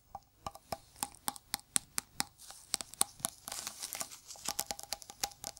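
A round, hollow blue metal cream tin held in gloved hands is tapped with gloved fingertips, giving quick, sharp, bright ticks with almost no low end and no ring. A stretch of soft rustling noise fills the middle between the taps.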